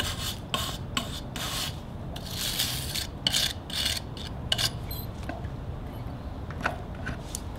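A gloved hand scrapes a chisel along a large solid log with patches of bark, resting on sawhorses with a mallet lying on top. Repeated short, bright rasping strokes are heard over a steady low rumble, with brief dry scratchy clicks between them.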